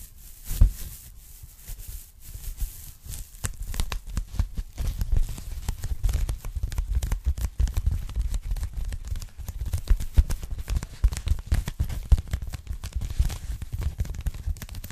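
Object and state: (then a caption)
Polyethylene foam packing bag. Long nails tap and scratch the surface of a thin, flat, empty pink polyethylene foam packing bag. The result is a dense, continuous run of soft, muffled crinkling scratches and quick taps, heavy in low thumps, with one sharper tap near the start.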